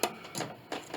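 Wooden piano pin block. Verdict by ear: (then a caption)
Hollow. The wooden pin block of an 1867 Chickering 33B piano, with its strings and action removed, is tapped four times, giving short, dry, hollow knocks that die away almost at once. The hollow sound comes from a separation in the pin block, which moves, though its lower part is not separated, and the whole pin block may have to come out.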